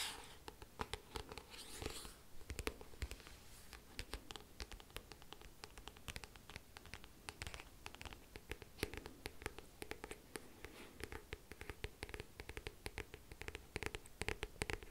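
Long manicured nails and fingertips tap and scratch across the front and back glossy card covers of a medium-sized, closed paperback book held close up. Quick, dry clicks and scratchy strokes come in a steady, uneven patter, each crisp and bright with a soft low thud and almost no ring.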